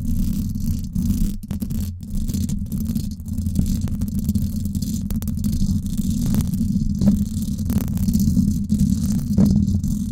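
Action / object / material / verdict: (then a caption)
scrape / woven-wire metal microphone grille / metal mesh / none. Long acrylic nails scratch the hollow, silver woven-wire dome grille of a Blue Yeti microphone. The result is a dense, continuous rasping rumble, heavy in the low end around a 176 Hz pitch, with a faint bright hiss above and brief dips where the scratching pauses.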